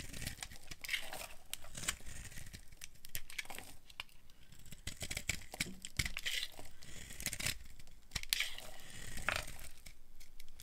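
A solid orange rectangular bar of dry soap, held in one hand, is shaved and carved with a small flat blade. Curls and flakes break off in a steady run of dry, crunchy scraping and crackling bursts with bright, papery edges. Each cut stops short with no ring.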